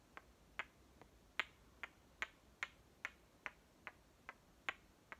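Halves of a painted wooden toy watermelon, red flesh with a white circle on the cut faces, are clicked against each other and tapped with fingertips. Twelve short, dry, bright clicks sound at an uneven pace, each dying away almost instantly over a quiet background.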